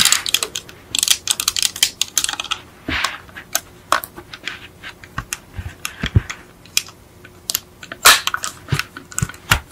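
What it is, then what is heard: Die-cast metal toy car. Long almond-shaped acrylic nails tap rapidly on the hollow, painted metal body of a small yellow die-cast Beetle model car, seen from the rear. Dozens of quick, bright clicks come in irregular bursts, with a few duller, deeper knocks mixed in. Each tap dies away almost at once.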